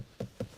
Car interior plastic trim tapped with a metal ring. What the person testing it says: tap some of the plastics there and there. Yeah, really nice.